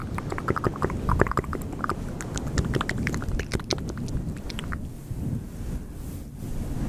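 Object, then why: Synthetic fur microphone windscreen. A grey and white fluffy faux fur microphone windscreen is rubbed with both hands, producing dense, crackly rustling and scratching bursts over a heavy low rumble. After about four and a half seconds the crackles fade, leaving a softer, muffled brushing with a dull low tone.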